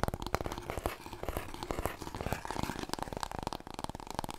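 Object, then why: Long cardboard tube. Fingernails rapidly tap and scratch a large, long, hollow, empty brown cardboard paper roll core, held diagonally and then horizontally across the body. The result is a dense run of quick, dry taps with hollow low thumps underneath and papery scratching in between, each tap dying away almost instantly.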